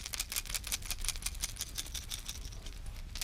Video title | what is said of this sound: DIY DRAGON TAIL DRIFT RIG WITH A TWIST | that right there will definitely get a fish's attention